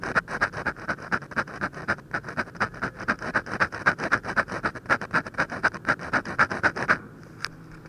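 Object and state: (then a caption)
Paper sheet scratched by a pen. A metal ballpoint pen tip scratches and taps dense hatching onto the lower lip of a drawing on a thin white paper sheet. Quick, steady strokes repeat about four times a second, each a short dry rasp with a bright papery edge centered near 1.6 kHz. The strokes stop just before the end, leaving a faint hiss and one light tick.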